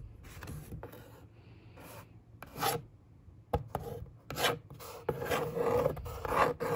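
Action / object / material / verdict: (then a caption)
scrape / corrugated cardboard box top / cardboard / none. A long fingernail traces lines across the top of a hollow brown corrugated cardboard box, then a flat hand rubs across the surface. The result is a series of dry, scratchy rasping strokes with bright hiss and a faint hollow resonance. The strokes come in irregular bursts, growing louder and denser toward the end.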